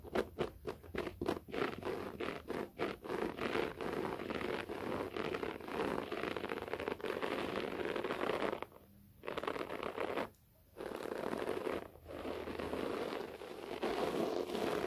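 Fingernails of both hands rapidly scratch a beige short-pile floor carpet. The sound opens with quick, separate scratchy strokes, then becomes a dense, continuous rasping concentrated in the mid-range. Two brief pauses near the 9- and 10.5-second marks interrupt it before the scratching resumes.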